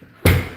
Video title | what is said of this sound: Lumberjack Landlord is live! | see how nice and solid that sounds